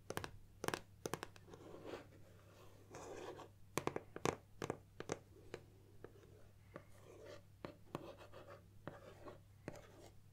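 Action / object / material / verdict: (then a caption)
tap / cardboard box / cardboard / none. Long nails scratch and tap across the printed surface of a closed gold cardboard Nikon lens box, turned on its side on a wooden table. Sharp, dry taps with almost no ring are scattered among soft, brushing scratches, over a faint low hum.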